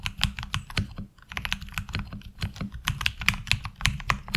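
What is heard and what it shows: Fingertips of both hands type steadily on a HyperX Alloy Origins Core tenkeyless mechanical keyboard with ABS keycaps. The result is a rapid run of short, bright clicks with a clacky high edge over a low thock, each dying out almost instantly, with a brief pause near the one-second mark.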